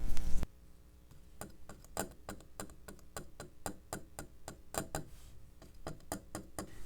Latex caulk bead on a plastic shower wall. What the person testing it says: tap on that caulking so you can hear how hard that latex caulking is